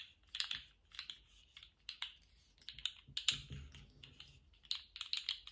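A small rainbow-striped, jointed plastic slug fidget toy is held in gloved hands and wiggled and bent with the fingertips. Its segments give off a run of quiet, sharp, bright clicks, sometimes in quick clusters, that stop almost instantly. A soft, low thump comes in about midway through.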